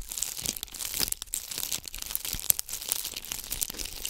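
A palm-sized ornament ball covered in bugle beads, held in both hands, is scratched with long acrylic nails close to the microphone. The result is a dense, bright, crinkly scratching with many quick clicks and rustles and almost no low end.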